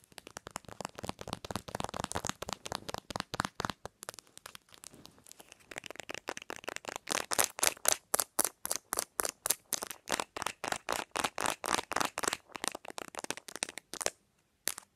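Long nails rapidly tap the back of a cherry-print plastic phone case and fiddle with its metal ring holder. The result is a fast, uneven stream of short, dry, bright clicks with no ring-out, softer and denser at first, then louder and more distinct.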